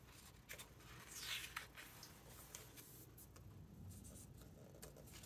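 Fingertips rub across the glossy paper pages of a large open hardcover book and turn them. Soft, bright papery swishes and light rustles run throughout, with a louder sweeping page turn near the start, over a faint low background hum.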